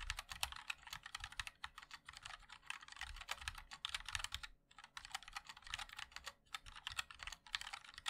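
Fingertips of both hands type continuously on a compact 60% MOD-L mechanical keyboard with a black case, white and black plastic keycaps and linear switches. A fast, steady stream of short, bright plastic clacks with almost no ring and little low end runs throughout, pausing briefly just before the midpoint before resuming.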